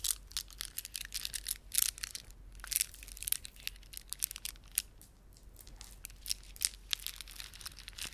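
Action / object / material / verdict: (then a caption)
scrape / plastic beaded ornament / plastic / none. Fingertips squeeze and rub a plastic beaded ornament, producing quiet, dense, bright crackling and clicking with sharp irregular bursts and almost no low end. The crisp clicks and crinkles cut off instantly with no ring.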